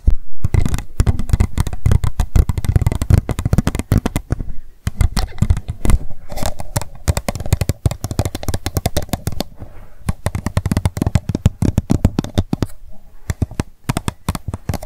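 Long nails rapidly tap and scratch the sides of an empty, hollow, transparent pink plastic cup as it is held and turned. The result is a fast, dense stream of dry clicks and taps with very short decay and a heavy low thump beneath, separated by brief scratching pauses.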